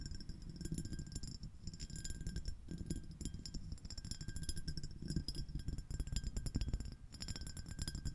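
Long acrylic nails on both hands tap and scratch a small, clear, iridescent glass dish shaped like a shell, with a ribbed surface, hollow and empty, held over the microphone. A dense, steady flurry of quick clicks and scrapes has a heavy, close low thump beneath bright, glassy high ticks and faint thin ringing tones.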